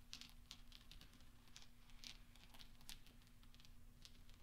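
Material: Steel.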